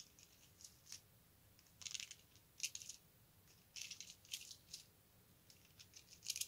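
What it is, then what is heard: Plastic bead necklace. A strand of colorful round plastic beads, likely hollow, is held up and slid along its string with the fingertips so the beads click together. Quiet, bright, high-pitched clicks and short rattling bursts come in scattered clusters, each dying away almost instantly, with almost no low end.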